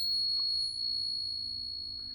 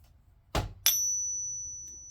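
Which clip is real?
The first.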